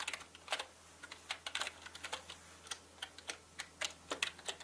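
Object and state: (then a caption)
Plastic mechanical keyboard. Fingertips of both hands type on a full-size black plastic mechanical gaming keyboard with plastic keycaps. About two dozen short, bright clicks and clacks come at an uneven pace and die away almost instantly over a quiet background.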